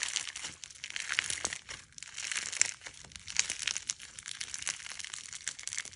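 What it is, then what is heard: Clear slime with polymer clay fruit slices. Clear slime loaded with polymer clay fruit slices is pulled and stretched into a thin sheet, then squeezed and kneaded by fingertips. It gives a dense, steady stream of bright, dry crackling and crunching snaps with almost no low end, rising and falling in short bursts.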